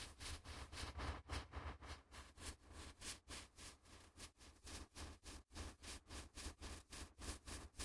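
A latex-gloved hand riffles and flicks the edges of a small stack of thin, flexible white A4 printer paper with its fingertips, held just above the recorder's microphones. About 19 quick, airy, bright rustling bursts come at a loosely steady pace of roughly three to four per second. Each flick fades almost at once over a low, rumbling undertone.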